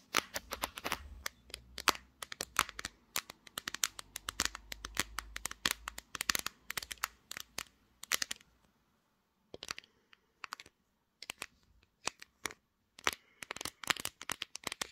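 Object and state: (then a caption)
Smartphone glass back. Long dark green nails tap and scratch the flat, hard back of a smartphone with a pink glass back, which is held in a tripod clamp while it records. Rapid, sharp, bright clicks and crisp scratches come in dense bursts, with a short silence just past the middle. The taps then resume more sparsely, each dying away instantly.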